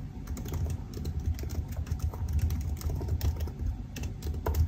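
Fingertips type steadily on the black plastic keys of a silver aluminium laptop keyboard, producing a quick, continuous stream of soft key taps. The taps are short and dull, with most of their weight in a low thump and only faint, brief bright clicks above it.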